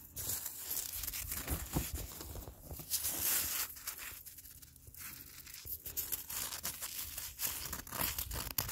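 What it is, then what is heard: Icy granular snow scraped. A black-gloved hand scratches and drags through an icy, granular surface of melting, crystalline snow on the ground. It makes a steady run of gritty crunching and scraping, with bright, crackly bursts over a low rumble. The strokes come irregularly, with a quieter stretch in the middle.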